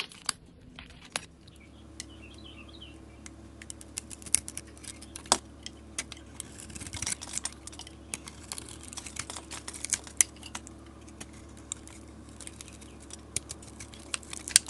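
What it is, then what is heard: Soap bar being carved. A solid white soap bar coated in silver and red glitter is held in the hand and scraped with a utility knife blade that peels off curls. The scraping makes a steady stream of quiet, crisp, bright scratches and ticks with very short decay, a few sharper snaps standing out, over a faint low hum.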